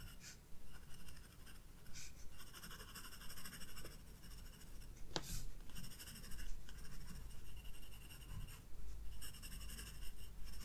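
A graphite pencil sketches flower details on a white page of a spiral-bound paper sketchbook. Soft, dry scratching strokes come in irregular bursts with a bright, papery hiss, over a steady low hum.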